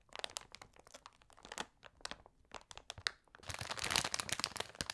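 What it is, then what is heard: Plastic bag of wrapped sweets. A large glossy plastic Trolli Multi Mix bag (300 g), full of individually wrapped sweets, lies flat on a table while both hands press and scratch it with long red nails and fingertips. The result is a quick, irregular stream of bright, dry crinkles and crackles. It thickens into a denser, louder rustle in the last second and a half.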